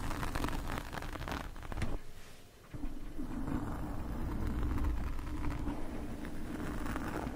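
Metal forks scratch along the lower sides of a black foam microphone windscreen, making a dense, muffled, low-heavy scraping and rustling. The scratching eases into a brief quieter lull partway through, then resumes steadily at full strength to the end.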